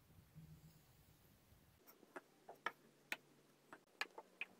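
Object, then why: Kinetic sand pressed in a glass with a wooden muddler. Blue and green kinetic sand is pressed and tamped down with a wooden muddler inside a stemmed clear glass. After a soft low murmur, a series of short, sharp, bright taps and clicks follows at an irregular pace, each dying away almost instantly.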